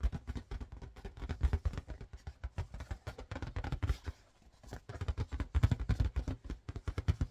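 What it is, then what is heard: Latex balloon. An inflated, yellow marbled latex balloon, hollow, air-filled and about head-sized, is held up and tapped with long painted fingernails and fingertips. It gives a quick, steady stream of soft, dull, low thumps that die away almost instantly, with a brief lull around the middle before the tapping picks up again.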